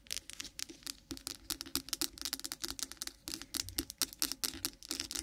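Fast tapping and scratching with long pointed nails of both hands on a white solid bar of milk soap with embossed lettering, lying on a microphone. Quick, dry, bright clicks and scrapes come in dense uneven bursts with almost no ring and very little low end.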